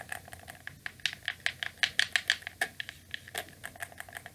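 A hand-sized, hollow black plastic wired PlayStation-style gamepad is held in both hands while its buttons are pressed and clicked rapidly with fingertips and thumbs, and the controller is turned. About two dozen sharp, dry, bright plastic clicks come in an uneven rhythm, each dying away almost instantly, with a clicky tone centered near 1.7 kHz.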